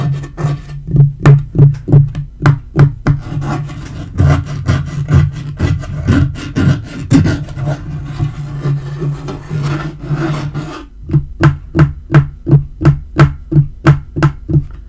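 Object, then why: Laminate table top. Fingertips tap and knock on a dark wood-grain laminate portable table top, giving quick, dull, low thuds in a steady rhythm. In the middle the taps give way to a continuous scratching and rubbing as nails scratch and a hand rubs across the surface, before the rhythmic tapping returns.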